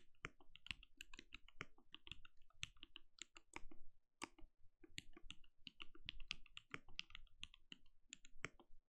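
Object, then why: Plastic mechanical keyboard. Fingertips of both hands rapidly tap the plastic keycaps of a compact backlit mechanical keyboard with a translucent glowing case. The quick, dry key clicks pair bright upper tones with a soft low thud, each dying away almost instantly. The typing runs steadily with a brief pause just before the midpoint.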